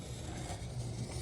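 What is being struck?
Nothing is struck.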